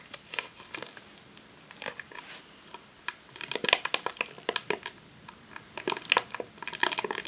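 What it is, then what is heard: Rolled vinyl sheet in plastic wrap. A long roll of vinyl adhesive sheet in a clear plastic sleeve, lying on a tablecloth, is scratched and tapped with long nails. The result is bright, dry crinkling, with sharp little clicks and plastic rustles that stop at once and carry almost no low end.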